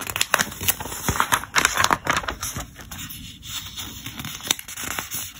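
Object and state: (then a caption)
Glossy paper catalog pages. Fingertips slide across the glossy pages of an open, thick trade catalog and flip them over, producing crisp, crinkly swishes and soft papery slaps. The sound is bright and irregular, with quick rustling bursts separated by quieter brushing between turns.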